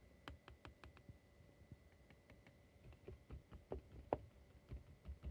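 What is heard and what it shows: Fingertips and nails tap and scratch across the glass front of a small silver-edged picture frame that holds postcards and lies flat. About fourteen quiet, irregular, short clicky taps with light scratching between them sound over a faint steady hum. One tap near the end is noticeably sharper.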